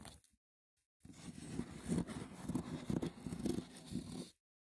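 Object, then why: Small woven wicker box with lid. Fingertips and short nails scratch and tap the top of a small, hollow, rectangular woven wicker box with a lid. A brief scratch is followed by a pause, then about three seconds of steady, rough, low-toned scratching with soft taps rising above it before it stops.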